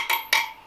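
Two bright, ringing metallic taps from a tool striking the steel spokes of a Royal Enfield Interceptor 650 Twin motorcycle's wire wheel during a spoke tension check. The high, clear ring is the sound of tight spokes rather than the flat, dull thud of a loose one, and the spokes are judged all okay.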